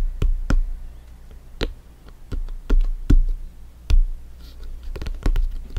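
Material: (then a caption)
Synthetic leather. A soccer ball is tapped in an irregular series of soft, dull thumps. The taps are deep and low, with brief sharp clicks on some strikes, and each dies away almost at once over a quiet background.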